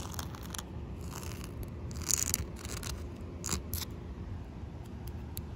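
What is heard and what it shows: Short fingernails painted white scratch across a large, solid outdoor concrete surface that is slightly damp. Brief, bright, gritty scraping bursts come in irregular strokes over a steady low rumble, with the loudest scrapes around the middle of the clip.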